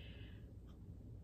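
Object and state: Nothing is struck.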